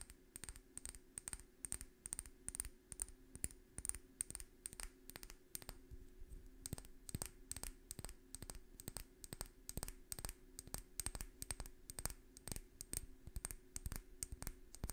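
A small dark amber glass essential-oil bottle with a paper label and a black dropper cap is held in one hand and tapped with long red-painted fingernails. The result is a quiet, rapid, uneven run of sharp clicking taps with a faint high glassy ring, over a steady low hum throughout.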